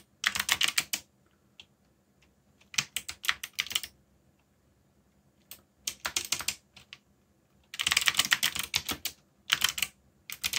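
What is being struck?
Mechanical keyboard with plastic keycaps.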